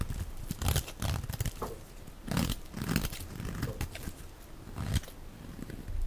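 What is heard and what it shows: A dark blade shaves strips from the edge and face of a solid, dry, hand-sized olive-green rectangular soap bar held in one hand. Soft, dry crinkling scrapes and crunching tears repeat in short bursts, low and dull with only faint bright crackle on each cut.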